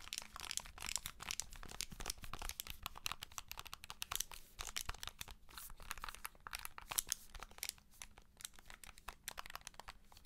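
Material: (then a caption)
Plastic. Long nails tap and scratch the plastic edge and vents of a handheld game console in a white and blue plastic case, held sideways. Dense, rapid, dry clicks and crinkly scraping fill the clip with bright, high-pitched texture and no ring. The sound stays quiet and steady throughout, with a faint low hum underneath.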